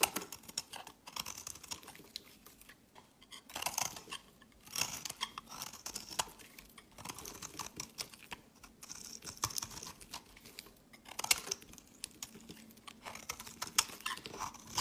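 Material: Soap.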